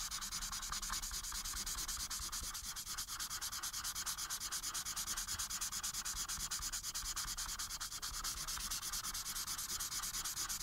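The felt tip of a white alcohol marker, held in fingers with painted nails, is rubbed back and forth across a thin printed Minion coloring page lying flat on a dark surface. Continuous coloring strokes produce a steady, quick rhythm of bright, scratchy, papery rubs with a soft hiss and little low end.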